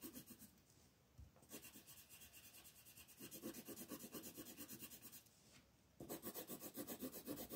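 A wooden colored pencil scratches and rubs across a flat paper coloring page in continuous shading strokes, held by a hand with long nails. Quick, steady back-and-forth scratching runs in bursts with brief quieter gaps, giving a dry, papery rasp with bright texture.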